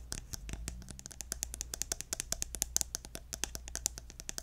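Fingernails tap rapidly on the gold cap of a pink plastic lotion bottle held upright. The taps are quick, sharp and bright, with a faint low hum beneath them.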